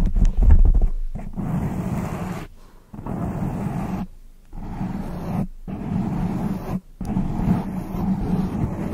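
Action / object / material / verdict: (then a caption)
scrape / foam microphone windscreen / foam / none. Long decorated acrylic nails scratch and rub a soft, porous black foam windscreen over a large microphone. The result is a dense, muffled rumbling scrape, mostly deep and low, that comes in continuous stretches broken by a few brief quiet gaps.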